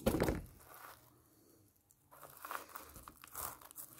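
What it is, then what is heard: Pomelo in plastic mesh net. A large whole pomelo wrapped in orange plastic netting with a red ribbon band is held in both hands while long painted nails scratch and tap over the net and rind. A loud crinkling scrape opens the clip, fades into a near-silent pause, then soft scratches and light taps return at a low level.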